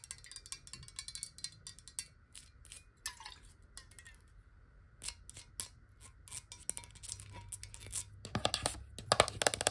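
Long nails tap quickly on the side and base of a clear glass bottle of water, held horizontal and then tipped. The taps are soft, bright and irregular, with short clicks that stop at once, growing louder and denser toward the end.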